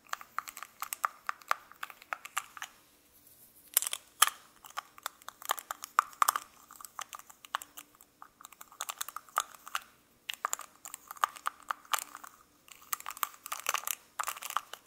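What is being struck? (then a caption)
Small metal lipstick case with cap. A small gold-coloured metal lipstick case with lipstick inside is held in both hands while fingertips click its cap open and closed, with a second lipstick lying still nearby. Quick bursts of sharp, dry, bright clicks and taps follow one another closely, separated by short quiet pauses. Each click dies away almost instantly, with no low-end thump.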